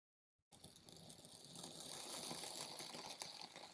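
A hand-held steel Farberware kitchen knife slices down through a palm-sized solid dome of blue and tan kinetic sand on a white surface, pressing and cutting the soft, dense sand. After a brief silence, a steady, bright, gritty crackle and hiss starts abruptly and swells slightly as the blade works through.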